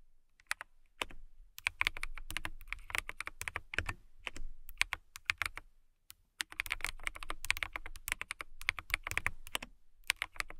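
Long nails type on a clear acrylic mechanical keyboard with a transparent acrylic case and clear keycaps. Quick bursts of crisp, bright clicking keystrokes come in runs separated by short pauses. Each keystroke is short and dry, with a tone centered around 2.4 kHz and a light low thud beneath.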